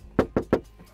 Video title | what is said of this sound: Toyota GR Yaris : Le Tour du Propriétaire Avant L' Essai ! [Part.1] | écoute tu vois ça sonne creux